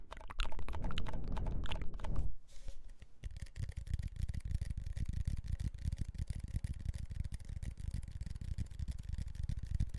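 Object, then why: Cardboard chip tube with foil lining and metal base. A hand-sized red Pringles chip can, a hollow composite cardboard tube with foil lining, a plastic lid and a metal base, apparently with chips inside, is held in the hands and tapped and scratched with fingertips and nails along its side and lid. Loud, dense scratching fills the first two seconds, then gives way to quieter, rapid, uneven taps and scrapes with a deep, hollow low-end thump that continue to the end.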